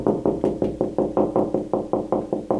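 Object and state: Solid drywall over a stud.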